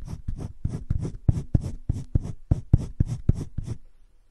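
Fingertips rub and scratch the tip of a teal colored pencil across a flat page of cream drawing paper in a spiral-bound drawing book lying on a table, shading a green leaf drawing. Thirteen quick, uneven scratchy strokes come about four per second, each a soft, dull, low rasp with a faint bright hiss, and they stop near the end, leaving quiet.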